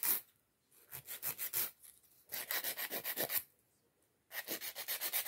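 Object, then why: Acrylic nail and emery file. A long, solid acrylic press-on or sculpted nail on a fingertip is filed back and forth with a white emery nail file with pink edges. The result is quick, bright, raspy scratching strokes in bursts separated by short quiet pauses.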